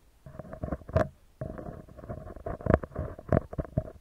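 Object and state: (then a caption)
Metal mesh microphone grille. A round, hollow metal mesh microphone grille is tapped and scratched with fingertips and nails. The result is a close, dry run of muffled low thumps mixed with scratchy, rustling bursts, with a few sharper, brighter taps that die away almost at once.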